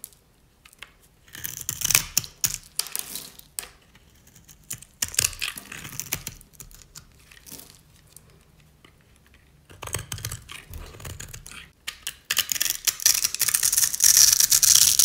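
A metal utility-knife blade scores lines into and shaves a solid rectangular bar of dry cream soap held in the hand. It makes dry, crisp, bright scraping and crunching in uneven bursts separated by quiet pauses. The scraping turns dense and louder toward the end.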